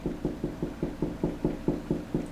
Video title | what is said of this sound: How to Install Window/Wall Mount AC 4 Hour Wall Timer...Where Should the Timer Go...Part 3 | it's a higher pitch noise and i know that's right where the stud is